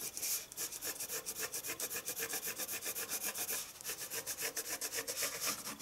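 A wooden pencil shades across a sheet of white drawing paper resting on a wooden table in fast scratching strokes. About two dozen quick, rhythmic strokes produce a bright, dry, raspy scratching with little low end.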